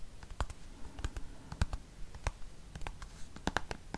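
A dark green plastic cream tube is held upright and tapped and scratched with fingernails. Short, irregular clicking taps sit over a soft, low scratching texture, and each tap dies away almost at once.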